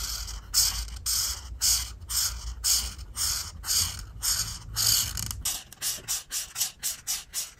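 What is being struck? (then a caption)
Felt-tip marker on a paper coloring sheet. A felt-tip art marker, held by a hand with long decorated nails, rubs repeated scratchy strokes into the squares of a flat paper grid coloring sheet. Each stroke is a bright, hissy scrape with a faint low hum beneath the first few seconds, and the strokes grow shorter and quicker toward the end.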